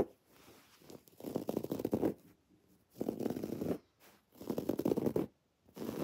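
Long dark-painted nails on spread fingers scratch a soft, stuffed teal textured woven fabric throw pillow with raised white cord lettering. The result is bursts of dry, rasping fabric scratching, warm and mid-low in tone, separated by short quiet pauses.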